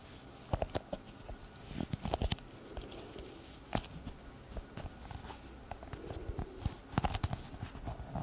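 Long red nails tap and scratch a small, hollow brown leather pouch used as a glasses case, held upright. Soft, dull, muffled taps land in irregular bursts and die away instantly, with quiet scratchy rubbing in between. The sound is mostly low and thuddy, with only a faint bright edge.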